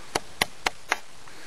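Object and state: Hollow dead tree limb.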